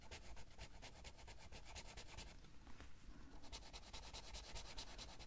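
A green felt-tip marker is rubbed back and forth in quick strokes to color a drawing in an open Heartstopper coloring book, its thin paper pages lying flat on a table while the other hand steadies the page. Soft, rapid, scratchy swishes pulse steadily over a low background rumble, and the strokes grow brighter and crisper in the last couple of seconds.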